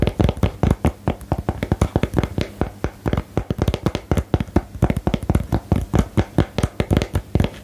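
A small printed "Geheimakte" cardboard game box is tapped and scratched with fingernails close to the microphone. A steady, uneven run of short, dry, muffled taps comes in quick clusters, heavy in the low end with a faint hollow tone. Each tap dies away almost instantly, with soft scratching between them.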